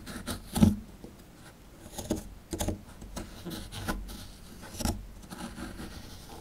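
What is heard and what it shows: A chisel digs into a small solid plaster fossil dig block, scraping the powdery plaster away from around the fossil relief. Quiet scratching and gritty scraping are broken by short, dull knocks and scuffs, with the sharpest one early on and brief, bright crumbly rasps between them.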